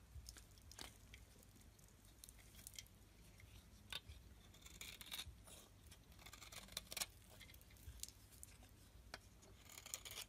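A metal blade scrapes thick curls off the surface of a solid white bar of soap held in the palm. Quiet, dry, bright scraping and crackling strokes come in irregular bursts with brief crisp clicks over a faint steady low hum.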